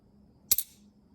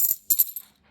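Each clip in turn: First: magic trick coin with a dull, non-ringing sound. Second: normal solid half dollar coins.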